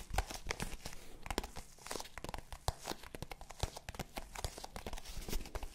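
A small black faux leather zippered hard-shell case, hollow and held upright, is scratched with long pink nails along its face and edges. The result is a steady run of quick, dry scratching and crinkly rasps with soft low thumps from the hollow shell, each stroke short with almost no ring.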